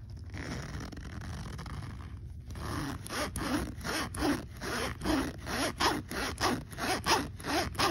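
Fingertips pull the small metal slider of a black fabric backpack zipper along its teeth. After a couple of seconds of low background rumble, a run of quick, raspy zipping strokes follows, back and forth in an uneven rhythm with bright, scratchy texture.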